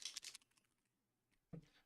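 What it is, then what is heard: Paint bottle with rattling mixing ball (paint loosened). A plastic speed paint dropper bottle containing a mixing marble is shaken, producing quick, bright clicking rattles as the marble knocks inside. This is followed by a pause and a duller knock. The audible marble shows the paint has loosened and is no longer settled.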